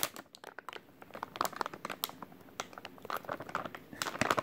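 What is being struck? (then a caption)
Soft plastic wet wipes pack. A full white soft plastic wet wipes package is squeezed and crinkled with the fingertips of both hands. A dense run of quick, sharp crackles and crinkles, bright and thin with almost no low end, rises and falls in bursts, growing louder toward the end.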